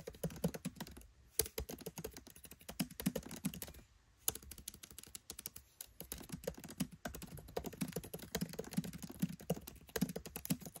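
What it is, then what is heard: Laptop keyboard typing. Rapid typing with fingertips and short nails on a MacBook Pro 13 laptop keyboard, with black plastic keycaps set in an aluminium body and the Touch Bar visible. Dense, quick clicks with soft low thuds and bright, short ticks fill the clip. There are brief pauses near the first and fourth seconds, and no speech.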